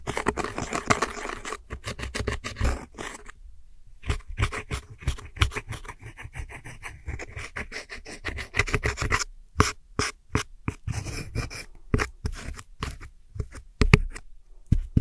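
A metal hook tool scratches the center pan of pressed powder eyeshadow in a round plastic palette, breaking it into loose crumbs. Dense runs of short, dry scraping strokes give a gritty crackle with a low thud under each stroke, broken by brief pauses.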